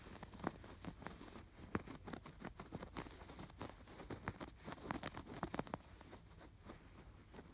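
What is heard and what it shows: Fingertips and nails scratch along the stitches of a stuffed canvas pillow with raised yarn lattice embroidery. A quiet, dry series of short, irregular scratchy bursts with no ring follows, mostly soft and low with only faint brightness, and a few sharper strokes stand out.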